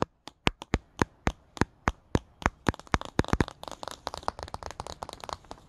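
A glossy card cover of the paperback book "Charlie Anderson" is tapped and scratched by fingertips with paperclips over the nails. Sharp, dry clicking taps come at first, then quicken into a dense mix of rapid taps and scratchy rasps. Each tap dies almost instantly.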